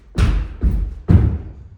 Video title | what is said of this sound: 6302 Cripple Creek | What I'm walking on is plywood, and listen to this. It's hollow underneath.